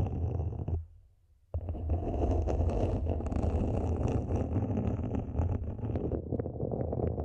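Long nails scratch the top rim and sides of a small matte black hollow plastic mini planter, producing a dense, rapid scraping texture that is mostly low and rumbly with a faint bright edge. The scratching stops briefly after the first second, then resumes steadily for the rest of the clip.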